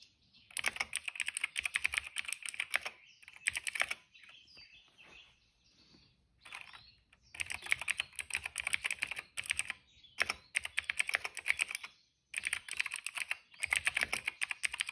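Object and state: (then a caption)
Plastic mechanical keyboard. Fingertips of both hands type steadily on a retro-style cream plastic mechanical keyboard with a hollow case and dark and purple plastic keycaps, resting on a rug. Bursts of quick, bright, clicky taps alternate with short pauses and softer, quieter stretches between them.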